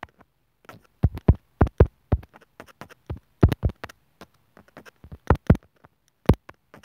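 A metal sewing needle taps and scratches the opening of a small white hollow plastic inline microphone remote on a white earphone cable, which lies on a wooden table. About twenty sharp, dull taps land at an uneven pace, each thumping low with a quick, bright click on top and dying out almost at once. Faint scratchy ticks fill the gaps between them.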